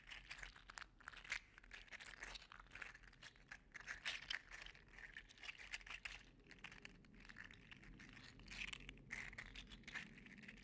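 A gold and green segmented 3D printed PLA articulated slug toy is held in one hand and squeezed and flexed so its joints clack. The result is a quiet, dense stream of rapid dry clicks and crinkly rattles, bright and centered around 2 kHz, rising and falling in short flurries throughout.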